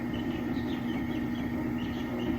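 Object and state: Nothing is struck.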